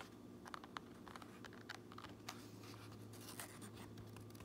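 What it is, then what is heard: Fabric cap, nails scratching and tapping. Fingernails scratch and tap on the underside of a fabric trucker cap, across its grey lining and the underside of its red fabric brim. Soft, dry scratching is broken by short, crisp taps. A steady low hum sits underneath throughout.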